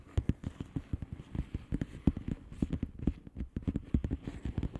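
Long fingernails of both hands tap rapidly on the air-filled bubbles of a flat blue plastic bubble wrap envelope. The result is a quick, uneven patter of short, dull, low taps that die away almost instantly and have little brightness.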